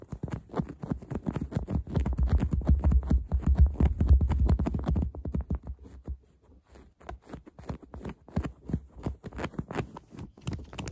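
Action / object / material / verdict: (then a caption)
scrape / stuffed polyester plush toy / polyester plush / none. Long acrylic nails rapidly scratch and press the surface of a large, soft, stuffed polyester plush frog toy. The result is a dense patter of soft, dull scratches with a low, muffled thumping underneath. It is louder for the first five seconds, dips briefly near six seconds, then continues more quietly.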